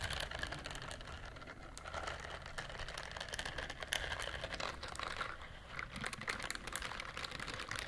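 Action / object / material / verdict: scrape / silicone scrubber glove / silicone / none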